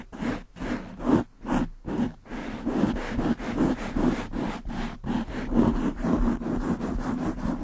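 Long pink nails and fingertips scratch and rub the black porous foam windscreen on a large microphone. The result is fast, rhythmic, breathy scraping strokes with a low-mid body and airy hiss. The first few strokes come as separate bursts, then blur into a near-continuous rustle.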